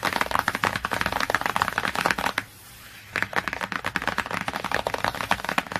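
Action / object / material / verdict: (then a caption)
tap / laminated cardboard hardcover book / laminated cardboard / none. Fingernails rapidly tap and scratch across the cover of a large, glossy laminated cardboard hardcover book. The result is a dense stream of sharp, dry clicks and scratchy strokes, bright and crisp with almost no low end, broken by a brief quiet pause in the middle before the fast tapping resumes.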